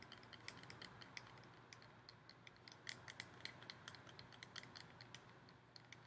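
Fingernails tap and scratch quickly across the surface of a hollow, ribbed gold metal decorative pumpkin. Quick, bright metallic ticks with short ring and high overtones sound over a quiet, steady low hum and faint hiss.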